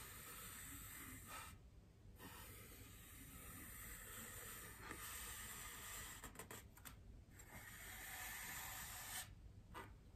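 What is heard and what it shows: Long painted nails scratch and tap a large white solid styrofoam wreath ring resting on a table. The result is a soft, dense, hissing scratch with a bright, airy texture, broken by a few short pauses and light taps.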